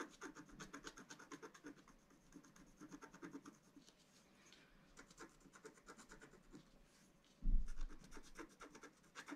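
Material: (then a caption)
Coated card. A wooden stylus scratches repeatedly across a black-coated scratch-art card lying flat on a table, near the planets. Quick, dry scratching strokes come in bursts, fade to softer rubbing in the middle, then a sudden louder low thump near the end is followed by more scratching.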